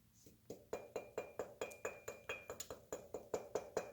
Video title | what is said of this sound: Motorized Bicycle Build 14 (What Bicycles You Shouldn't Use Period!) | you can hear it rings like a bat because it's such thin walled crap metal